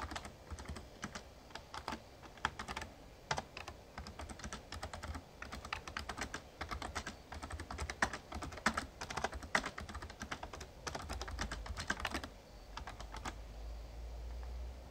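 Fingertips type steadily on a full-size backlit plastic Razer Ornata Chroma mecha-membrane gaming keyboard. Dense, quick clacking keystrokes ring short and bright over a steady low hum that grows louder during the last few seconds.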